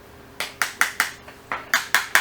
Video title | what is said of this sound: N° 6 Remplacement du Condensateur dans un moteur Simu | on entend bien au bruit qu'on est embuté. Ça sonne.